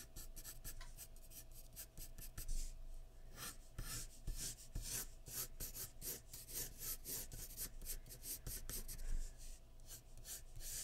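A graphite pencil held by the fingertips rubs and shades near the chin of a portrait on a large flat sheet of white drawing paper resting on a wooden surface. Steady, dry scratching strokes repeat in quick bursts with bright, papery hiss over a faint low hum.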